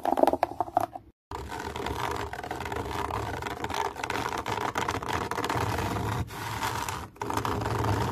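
Long nails scratch the fine camouflage fabric mesh wrapped around an object, probably a speaker cover. Quick, choppy scratches open the clip, then a brief silence, then a steady, dense rasping scrape with a midrange tone continues to the end, broken by a couple of short pauses.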